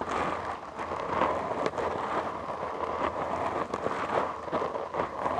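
Fingertips and short nails of both hands scratch a black foam windscreen on a large microphone. The result is a dense, continuous crackling rustle centered in the midrange, with brief brighter scratchy bursts.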